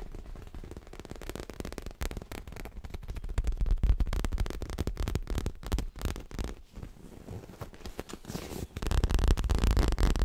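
A soft, stuffed dark grey leather cushion is tapped and scratched with fingertips and nails, producing fast, irregular, dull low thumps mixed with dry scratching and light crackle. Toward the end the sound becomes a louder, denser rubbing with a steady deep rumble.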